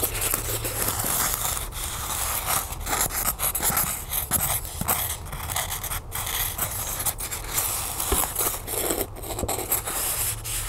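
Long nails scratch and tap quickly along the rough surface of a small white solid styrofoam block held in the hands. The result is a steady, dense run of dry, hissy scratches with short taps mixed in, fairly even in loudness throughout.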